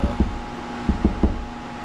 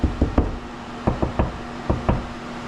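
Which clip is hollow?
The first.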